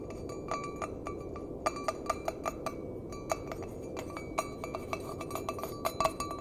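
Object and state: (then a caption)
Empty stainless steel mug. An empty, hollow stainless steel mug with a handle is tapped repeatedly with the fingernails, giving quick, irregular clinks. Each tap leaves a short metallic ring near 650 Hz with brighter overtones above it. A steady low hiss runs underneath throughout.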